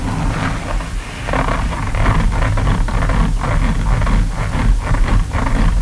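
Both hands scratch with fingertips and nails across the toe boxes and synthetic mesh uppers of an empty pair of black and orange Hoka running shoes with rubber soles, resting on a table. The sound is a steady, bassy, rustling scrape with faint rhythmic pulses of brighter scratching throughout.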